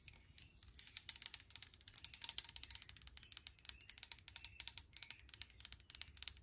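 A brushed aluminum hand sanitizer bottle with a pump, held in the hand, has its side rubbed and scratched with long nails. The result is a rapid run of many short, bright, crisp clicking and scraping ticks, almost all of the energy high in the treble.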